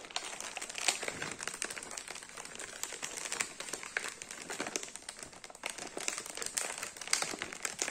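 A thin black plastic blister tray from a cookie box, hollow with cookies visible, is held in the hand and tapped and bent with the fingertips. It gives a dense run of bright, crisp crinkles and clicky taps with very little low end, and each sound dies away almost at once.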